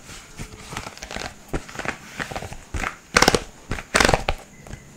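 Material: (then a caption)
Plastic. A rainbow segmented plastic fidget slug toy with hollow segments is twisted and flexed in both hands so its joints click. Over about five seconds, a string of short, dry clicks and crinkly rattles rises and falls, with louder, brighter bursts of rapid clicking near the end.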